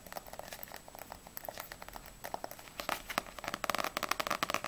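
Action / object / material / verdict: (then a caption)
tap / paperback book with glossy paper cover / paper / none. Long nails tap the spine of a small, solid paperback manga book, Ousama Game volume 1, which has a glossy paper cover. They then tap fast on its glossy back cover. The short, crisp, bright clicks start quietly and grow denser and louder in the second half.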